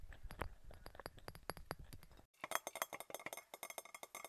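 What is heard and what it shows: A glass object is tapped in a quick, uneven series of light taps, giving short clinking sounds that die away almost at once. After a brief pause partway through, the taps come back sharper and more clearly separated, with a bright glassy ring over a faint low rumble.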